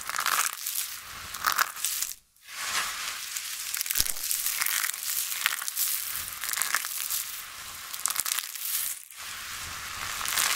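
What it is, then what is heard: Dry, brittle soap shavings crunching. Flat palms and short-nailed fingertips press and rub into a large, loose heap of dry, brittle pink, orange and purple soap shavings coated in white starch. The result is dense, crisp crunching and crinkling that is bright and high with almost no low end. It comes in bursts, with brief near-silent pauses around 2 and 9 seconds.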